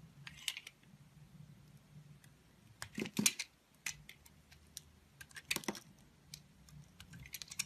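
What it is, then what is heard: Soap bar being carved. A solid olive-green embossed soap bar, held in the hand, is carved and scraped with a green-handled utility knife blade, peeling off curls. Short, crisp, bright scraping clicks come at an irregular pace over a faint low hum, with a few louder sharp cuts standing out.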